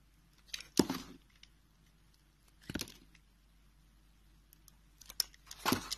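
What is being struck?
Bar of soap cut with a knife blade.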